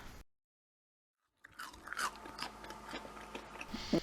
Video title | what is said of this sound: CARNIVORE WAFFLES AND CHAFFLES | it's very crisp when I tap it you can hear the sound and also when you taste a bit